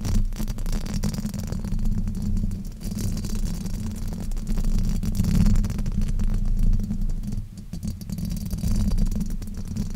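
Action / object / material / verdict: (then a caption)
scrape / foam microphone windscreen / foam / none. A black foam windscreen fitted over a silver microphone is scratched and rubbed with fingertips and nails. The result is a continuous, dense, low rumbling scrape with a steady crackle, almost all of its energy sitting below 200 Hz. It swells and dips slightly in loudness throughout.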